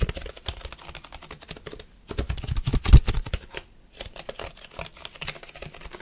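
Fingertips and short nails quickly grip and tap a handheld, flat rectangular red plastic food container lid with a hollow rim. The result is a rapid, chaotic stream of dry clicks and hollow low thuds with bright ticking edges, broken by two brief pauses near 2 and 3.7 seconds. The loudest cluster comes around 3 seconds.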